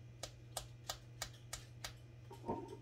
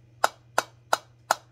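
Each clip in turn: First: sealed canning jar lid. Second: unsealed canning jar lid (dull).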